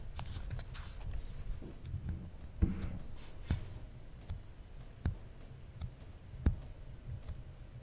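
Fingertips tap and rub the aluminum side edge and the plastic cap of a small, solid original iPhone. Soft, low, rumbling friction is broken by sharp, dry clicks that stop almost instantly. The whole clip stays quiet and close.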